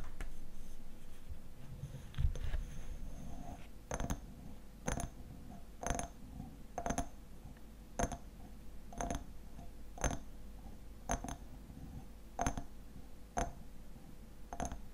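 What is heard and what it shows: Fingernails scratch and tap the sides of a small hexagonal glass jar filled with honey, with a black lid and a label. Soft, scratchy rubbing comes first, then a steady series of evenly spaced, short glassy taps with a bright, quickly fading ring over a low, quiet hum.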